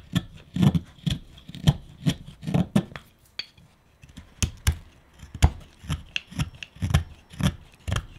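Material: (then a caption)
Wood. A flat chisel shaves chips off a small, solid, hand-held block of reddish wood that is being carved into a pipe, with the chips piling up on a dark wooden table. About twenty short, dry cutting and scraping strokes are heard, each a low, woody thump with a brief bright crackle that dies away almost at once. The strokes come in a steady rhythm, with a short lull just past the midpoint.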